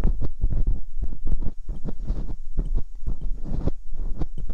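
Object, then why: Silicone binaural microphone ear scraped with a metal dental pick. Metal dental picks scrape inside the ear canals of silicone binaural microphone ears. Close, muffled scraping and rubbing comes in rapid, uneven bursts, dominated by deep low thuds with faint brighter scratches on top.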